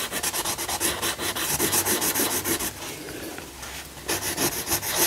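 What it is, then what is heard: Coloured pencil shading on a paper page. A yellow wooden coloured pencil shades a lion figure on a thin paper colouring book page lying flat, while the other hand holds the page. It makes quick, steady rubbing strokes, a bright papery rasp at about three strokes per second. Midway, the strokes blend into a softer, smoother scratching before the rhythmic rubbing returns.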